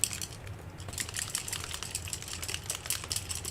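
A paint marker or paint container is shaken, and the mixing balls inside rattle in a quick run of bright, sharp clicks over a low background rumble. It is shaken until the balls can be heard so the paint does not come out goopy.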